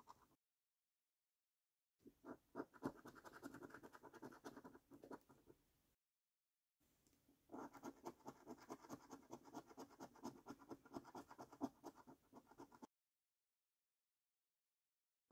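A coin scratches the latex coating off a flat, thin cardboard paper scratch card in short, quick strokes. It makes a soft, dry rasping texture in two bursts, from about 2 to 6 seconds and from about 7 to 13 seconds, with silence before, between and after. The strokes run fast and unevenly, and the sound is mostly in the low-mid range.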